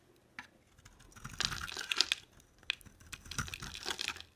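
A solid, dry cream-colored oval bar of soap with an embossed logo, held in a hand with long nails, is scraped and shaved with a black-bladed utility knife. The blade makes quiet, bright, crisp scraping and crackling rasps in short bursts with no ring after each stroke.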